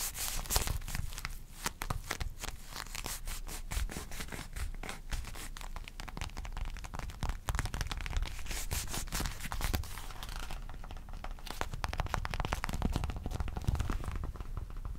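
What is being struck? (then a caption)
Folded leather wallet. A small black folded leather wallet is handled close up and tapped and scratched with the fingertips and short nails. The result is a continuous stream of dense, crinkly scratches and quick clicking taps over a heavy low rumble of handling. The bright scratchy edge thins out toward the end.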